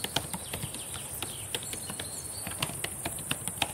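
Long painted nails and fingertips tap and type on the plastic keys of a black laptop keyboard. They make a quick, irregular series of short, sharp clicks with bright tops and no ring. The clicks are quiet and sit over a steady, faint high hiss.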